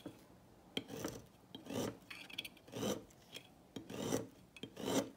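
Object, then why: Bar of soap cut with a thin metal blade. A thin metal blade cuts through a smaller remaining piece of a solid turquoise dry soap bar on a table. Repeated dry, rasping scrapes swell and fade, each often opened by a sharp tick as the blade bites in and shaves through the hard soap.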